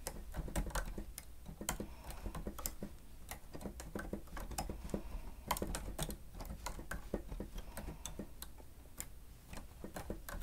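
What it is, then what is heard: Plastic stenotype machine keys being typed. A grey plastic stenotype machine with a screen has its keys pressed rapidly with the fingertips and nails of both hands. The result is a quick, irregular stream of short, dry plastic clicks and taps over a low background hum.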